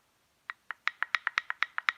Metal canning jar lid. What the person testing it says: if you hear that ping